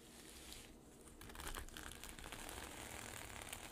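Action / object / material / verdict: scrape / sequin-covered fabric pouch / plastic sequins / none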